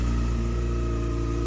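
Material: Nothing is struck.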